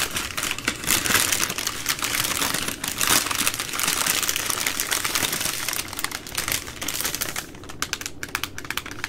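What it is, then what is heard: Soft plastic wipes pack. A full 80-count soft plastic baby wipes pack with a hard plastic flip lid is held while long nails scratch and tap its plastic film and lid. The result is a dense, bright crinkling with quick clicking taps running throughout, easing slightly toward the end.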